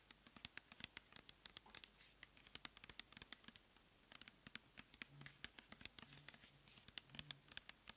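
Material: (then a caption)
Plastic. Long nails tap and scratch a medium clear plastic pump bottle of cleansing gel, full of light blue gel and wrapped with a paper label. A quiet, rapid series of sharp, dry clicks and scrapes sounds bright and high, each dying away at once, over a soft background hiss.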